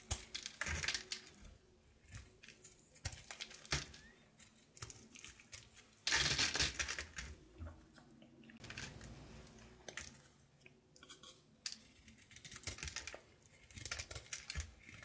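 A solid light blue bar of soap, held in the hand, is carved and scraped with a red-patterned knife, making crisp, bright, irregular scraping and clicking cuts. A louder, longer rasping scrape comes around the middle. Curls and shavings pile up below.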